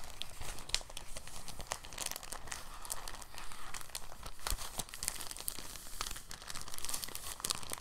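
A thin, clear, empty soft plastic bag is held in both hands in front of the microphone while fingertips and short nails crinkle and fold it. Soft, dense crinkling runs throughout, with quick bright crackles and small sharp snaps over a low, steady rustle.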